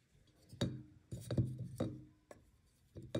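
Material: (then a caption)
Chalk. A metal knife blade scrapes and shaves the edge of a solid white magnesium carbonate gym chalk block held in the fingertips over a clear glass bowl, with powder and flakes falling into the bowl. Six short, dull, low scraping strokes are heard, each with a faint quick ring that dies away almost at once.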